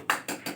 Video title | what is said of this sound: sditc badigarh afzalgarh | आवाज सुनो, खाली है भरा? भरा हुआ।